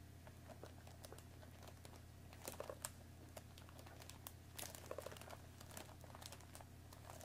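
Long nails tap and scratch the front and top of a hollow cardboard tea box wrapped in crinkly plastic film, resting on a wooden table. Quiet, sharp crinkling ticks and scratchy brushes come in uneven bursts over a steady low hum.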